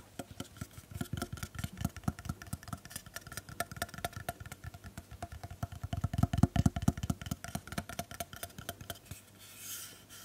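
A black plastic hair straightener (flat iron) with metal-coloured plates and a hollow handheld body is held close to the microphone and tapped and rubbed with long painted nails. Fast, irregular clicking taps with hollow, low-heavy thumps run throughout and grow louder midway. The clip ends with a brief, soft, bright rubbing hiss.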